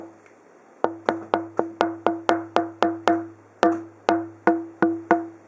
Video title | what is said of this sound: Tonewoods of the Holy - Tap tones from fingerboards brazilian Rosewood - Rushmore | it has a certain pop and twang to it